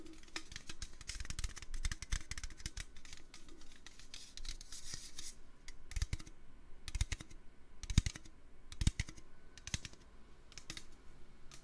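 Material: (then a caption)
Metal. Fingers tap on a metal can, starting with a quick, dense flurry of light clicky taps. After a few seconds the taps slow into sparser, sharper knocks with short, dull low thuds and almost no ring.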